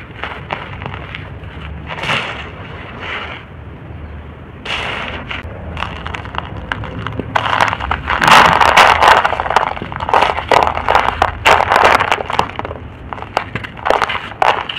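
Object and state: Dry crumbly soil.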